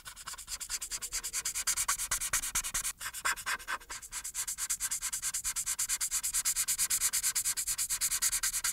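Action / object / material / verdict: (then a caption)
scrape / marker tip on a paper sheet / paper / none. An alcohol marker held in fingertips with pink painted nails is rubbed back and forth across a thin printed paper coloring page lying flat on a solid dark board, coloring in the face. It makes a steady run of dozens of quick, bright, airy scratching strokes with almost no low end, and a brief gap near the three-second mark.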